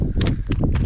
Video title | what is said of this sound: Exploring Historic Greenwood, TX and Leo waterfall | you can tell it's hollow right here because it sounds hollow